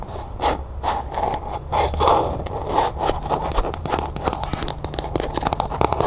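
Long nails tap and scratch the sides and base of a small, hollow, empty matte pink plastic cup held in the hand. The result is a run of quick, dry taps mixed with scratchy scraping, carrying a hollow, mid-pitched tone near 870 Hz. Each tap dies almost instantly.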